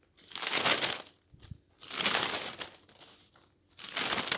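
A hand turns and flattens the thin pages of a stack of newsprint newspaper, producing bright, dry rustling and crinkling. The sound comes in a few swelling bursts with short quieter gaps between them, with almost no low end.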